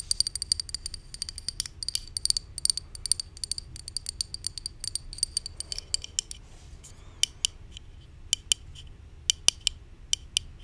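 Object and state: Plastic supplement bottle tapped with nails.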